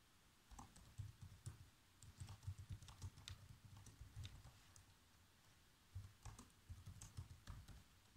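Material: Plastic.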